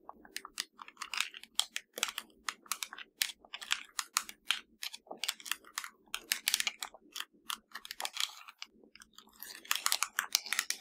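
Long nails tap and scratch rapidly across the top surface of a hollow black plastic LG TV remote control. The result is a dense run of dry, crisp clicks and bright scratchy rasps with almost no low end and no ring after each hit.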